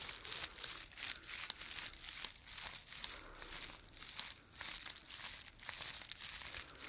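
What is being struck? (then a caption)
Straw and grass Easter palm. Fingertips rub and scratch along a dried straw and grass Easter palm held in both hands, producing a continuous high, bright crinkling and crunching. The dry rustling swells and fades in uneven waves, with almost no low end.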